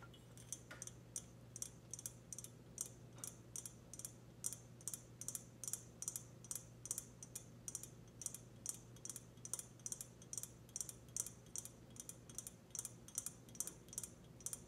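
A hollow, glossy black ceramic teapot is held up and its body is tapped with long red nails. A quiet, steady series of short, bright clicks follows, each dying away almost instantly over a faint low hum.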